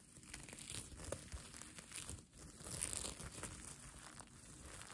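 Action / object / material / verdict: scrape / plastic sequin fabric / plastic / none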